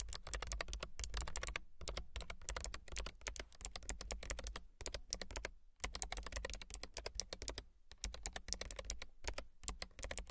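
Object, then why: Low-profile mechanical keyboard with plastic keycaps. Long silver nails type steadily on a low-profile mechanical keyboard with a gray frame and white and gray plastic keycaps, making rapid, crisp, clicky key taps with a bright edge. Brief pauses break the typing, and a low, steady hum runs underneath.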